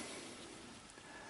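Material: Nothing is struck.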